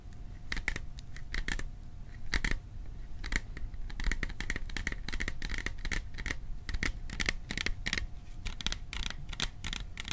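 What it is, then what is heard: Small metal popcorn container. A small metal popcorn container is tapped in a mix of quick and slower bursts, giving a steady run of short, dry clicks. Each tap is brief and bright with a faint metallic ring, heard over a low background rumble and a thin constant hum.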